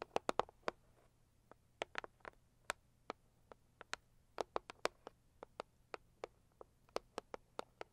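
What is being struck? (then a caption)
Cardboard gift box. Long acrylic nails of both hands tap on the lid of a hollow, medium pink floral Saviland cardboard gift box. About 28 sharp, dry clicks come in an irregular rhythm, each with a bright attack that dies away almost instantly. A faint low hum sits underneath.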